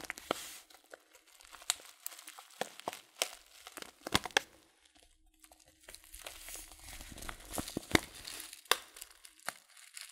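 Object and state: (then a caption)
Paper tea packet being crinkled. A hand-sized Teekanne loose-leaf tea packet made of kraft-style paper and filled with tea is squeezed and crinkled with the fingertips. The result is soft, dry, bright crinkling with sharp little crackles and snaps scattered across the clip, with brief quiet pauses and almost no low end.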